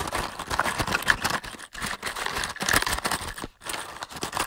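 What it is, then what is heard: Cardboard matchbox. A large, closed, hollow cardboard matchbox is tapped and scratched with fingertips and short nails. The result is a rapid run of dry, papery taps and crinkly scratches with a hollow midrange tone and bright edges. The taps die out almost instantly, with brief silent gaps between bursts.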